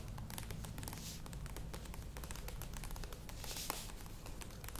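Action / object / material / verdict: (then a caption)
scrape / plastic yogurt tub / plastic / none. Long nails scratch and tap the sides and lid rim of a medium plastic yogurt tub standing upright. The result is a steady stream of quick, crisp clicks and dry scratching with bright crackly detail over a soft low rumble.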